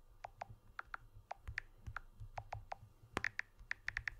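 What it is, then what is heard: Smartphone aluminium frame tapped with fingernails. Fingertips and nails tap the aluminium frame edge of a blue smartphone with a glass back, held edge-on, making about eighteen quick, dry clicks. Each tap carries a short pitched ping that shifts between lower and higher tones, with very little ring. A faint low hum sits underneath.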